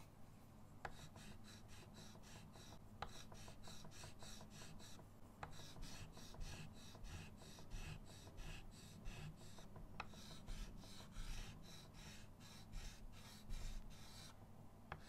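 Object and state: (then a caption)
Chalk rubbing on a framed chalkboard. A hand rubs a yellow chalk stick back and forth over a bird drawing on a small chalkboard with a wooden frame, lying flat on a table. Rhythmic, scratchy rubbing strokes come in quick bright bursts over a steady low hum, with a few sharp taps now and then.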